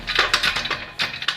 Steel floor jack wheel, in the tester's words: こんな風にカタカタいう感じですね